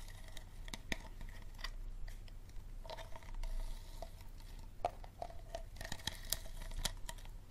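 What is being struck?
Thin plastic water bottle.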